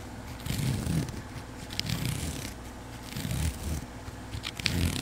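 Fingertips with long pink nails scratch and rub along the woven surface of a flat grey webbing strap, probably nylon, about a hand wide and held in one hand. Uneven, scratchy rubbing swells in and out, with a low, dull body and occasional bright, crisp scraping bursts.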